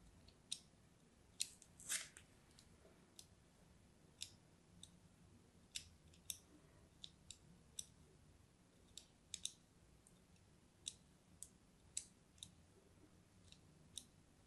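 A thin metal blade scores diagonal lines into a palm-sized, orange-and-white striped solid bar of soap. Each of about 22 quiet, crisp scratches is bright and high-pitched, with almost no ring, spread over a soft low background hum.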